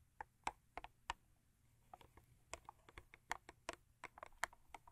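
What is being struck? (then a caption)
Cardboard toothpaste box. Long acrylic nails tap the front and top of a long, thin printed-cardboard Crest toothpaste carton. About seventeen short, dry clicks come at an irregular pace over five seconds, centered around 1–2 kHz with no ring after each tap.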